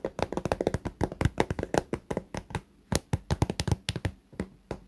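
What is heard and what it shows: Long fingernails on both hands tap quickly across the top edge and clear vinyl front of a small pink fabric toiletry pouch filled with toiletry items. The taps are short, dull and soft, with a low-heavy thump and almost no ring, coming in an uneven rapid patter with brief pauses.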